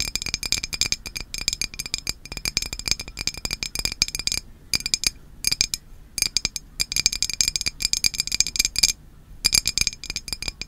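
A hand-sized glass Izze sparkling water bottle, partly filled with liquid, is tapped with long nails on its sides and label. The result is rapid, irregular bursts of bright, clinking taps with very short ring, pausing briefly a few times.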